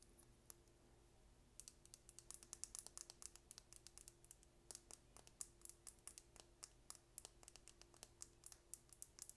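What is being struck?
Small plastic lip gloss tube.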